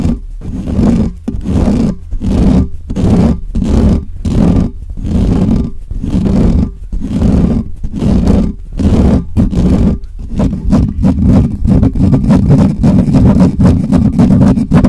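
Fingertips and nails of both hands scratch fast and hard across the bare, hollow metal mesh grille of a black microphone. The result is a rough, booming scrape with a strong low rumble and a hum-like tone near 200 Hz, coming in quick, uneven bursts. Toward the end the scratching turns denser and nearly continuous.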